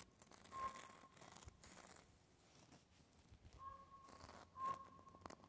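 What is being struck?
Bark of a living tree trunk.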